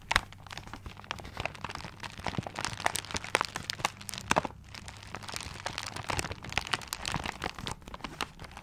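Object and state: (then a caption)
Paper-wrapped gift. Nails and fingertips scratch the wrapping paper of a paper-wrapped gift held upright. Dense, bright crinkling and crunchy scratches come in quick, sharp bursts throughout, over a faint low hum.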